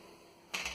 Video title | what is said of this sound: Bread Rolls | tap the bottom will sound hollow and that's how you know when a bread or bread roll is done